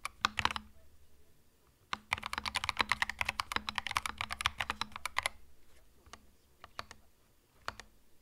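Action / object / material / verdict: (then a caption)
tap / mechanical keyboard with plastic keycaps / plastic / none. Fingertips type on a compact mechanical keyboard with plastic retro keycaps. A short burst of bright, crisp clicks gives way to a brief pause, then a dense, rapid run of keystrokes, before the typing thins out to a few scattered taps. Each keystroke is sharp and dry with almost no ring, over a faint steady low hum.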